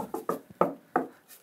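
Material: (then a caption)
Wood. Four short, dry knocks on a wooden wall panel behind the toilet in a tiny house bathroom, where the stairs run up behind it. Each knock has a hollow, mid-pitched tone that dies away almost at once, revealing the open stair cavity behind the panel.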